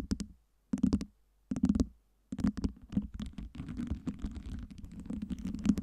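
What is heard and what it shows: Long nails tap and scratch with both hands over a tower of small, solid acrylic fake ice cubes lit in colors by LEDs and stacked on a round base. Three short bursts of quick tapping, separated by silences, give hollow, low-mid knocks with bright clicky edges. A denser run of continuous tapping and scratching then carries on to the end.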